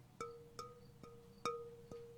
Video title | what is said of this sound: TWL - Pottery with Steve | Do you hear it's almost like a bell, right? You want to hear that sound because if it had a crack in it, it'd be a thud.